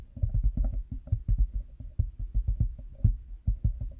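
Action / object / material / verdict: tap / plastic headphone headband with cat-ear pieces / plastic / none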